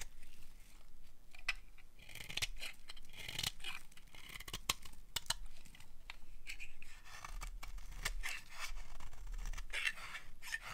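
A utility knife blade carves curls off the edge of a solid, dry orange-red bar soap. The clip is a steady run of crisp, scratchy scraping and crunching cuts, each with a bright, dry, clicky edge and almost no ring.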